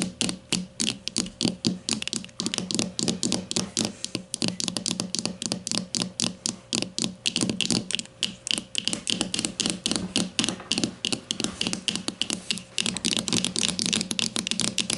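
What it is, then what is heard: Plastic deodorant stick tapped with fingernails. Long nails on both hands tap rapidly on the casing of a grey plastic deodorant stick lying flat. The result is a steady stream of short, bright plastic clicks with a hollow low knock beneath, each dying away almost at once.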